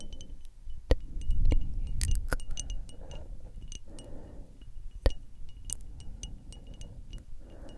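A small frosted glass perfume bottle, mostly covered by the hands, is tapped with long acrylic nail tips. Bright, short clicks and clinks ring out irregularly over a low rumbling, rustling background.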